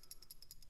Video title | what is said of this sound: WASR 10 Romanian AK47 Series - Complete Descriptive bolt disassembly/ reassembly Part 1 of 2 * PITD | this bolt has a firing pin that is just uh captured it doesn't have a spring in there you can shake it and hear it